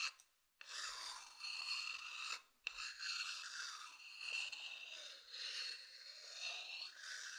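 A thin wooden stick scratches across the outer surface of a medium hollow wooden bowl, making a dry, bright rasping sound. The scratching comes in long continuous strokes with short pauses between them, centered on a steady tone near 2.7 kHz with no low end.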